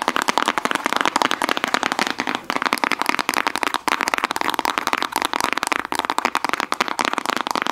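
Fingernails rapidly tap and scratch a small, full round plastic slime tub with a clear lid and a printed sticker. The result is a dense, continuous run of sharp, dry clicks and crackly scrapes, centered around 950 Hz with a bright top end and almost no low end.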